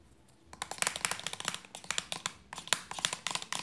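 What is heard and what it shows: Long nails tap quickly on the cap and body of a hollow white plastic lotion bottle with a red cap. After about half a second of quiet, a rapid run of sharp, bright, dry clicks follows, each stopping almost at once with no ring and almost no low end.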